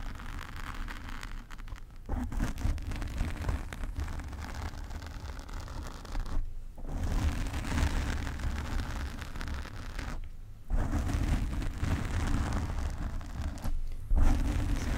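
Long painted nails and the fingertips of both hands scratch and rub a soft, porous black foam windscreen on a large silver desk microphone. The result is a dense, continuous crackling rustle with a heavy low rumble, broken by brief pauses near 2, 6.5, 10.5 and 14 seconds.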